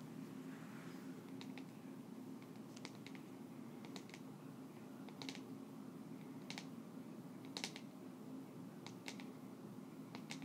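A small round black plastic cosmetic pot with a printed lid is held in the hands and tapped on the lid with long nails. Quiet, sharp, bright clicks come in irregular bursts over a steady low hum. Each tap is crisp and dies away almost at once.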